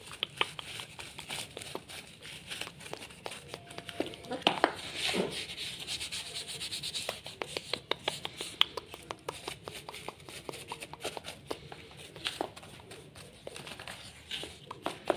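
A women's sandal with a transparent plastic upper, red edging, metal studs and a beige insole is held in one hand and wiped and rubbed with a small white cloth or tissue. A steady, bright rubbing hiss runs throughout, broken by many quick, sharp clicks and scratches.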